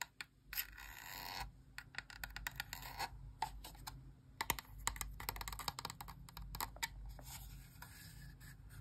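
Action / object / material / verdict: scrape / hollow plastic game controller / plastic / none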